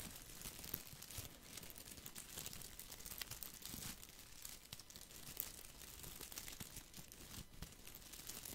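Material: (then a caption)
Plastic. Fingertips rub and scratch the dense plastic leaves of a small, solid, round artificial boxwood ball held near the microphone. The result is a steady, quiet, bright crinkling and scratching texture with many short rustles and no ringing.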